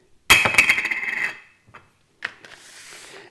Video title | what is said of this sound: How To Identify Lens Materials | Quite rigid, I mean it has some flexibility but it sounds like it's rigid